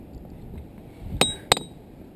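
A hammer strikes a boulder twice, and each hit gives a sharp, bright metallic clink. A clear high tone near 3.7 kHz rings briefly after each strike. The rock rings well, like a bell.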